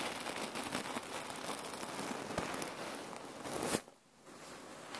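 A red patterned cotton neck warmer pillow filled with cherry pits is squeezed and scrunched with both hands. The pits shift against each other in dense, crackly rustles with bright, gritty detail. A sharp final scrunch cuts to near silence, then a faint rustle returns.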